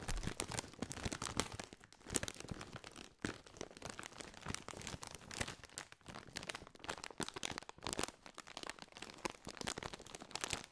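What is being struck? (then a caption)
Foil-lined plastic snack bag. A partly filled Doritos chip bag, a foil-lined metallized plastic bag, is tapped and crinkled with fingertips close to the microphone. Dense, continuous crackling and crunching rustle fills the clip, with bright, crisp, high crinkles and soft tapping. The sound swells and eases in waves without stopping.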